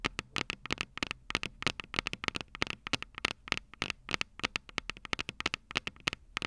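Long purple nails tap both small, hollow, silver metal microphone capsules of a Tascam DR-05 recorder resting on a table. The result is a quick, irregular run of sharp, bright clicks with a tonal ring near 2.2 kHz that dies away almost instantly, with little low end.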